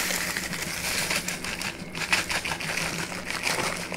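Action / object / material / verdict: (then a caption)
shake / kraft paper bag / paper / none. A flat brown kraft paper bag with a white label is held in one hand, waved and crinkled, the paper flexing under fingertip pressure. It makes a continuous, bright, papery crackle with dense, rapid rustles and small snaps throughout. A faint steady low tone sits underneath.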